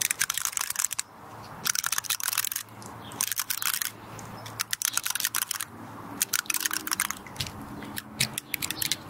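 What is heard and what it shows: Long red nails scratch and flick the woody scales of a small, solid, dry brown pinecone held close in both hands. The result is bursts of dry, bright, rapid crackling clicks, separated by short quiet gaps with a faint low hum underneath.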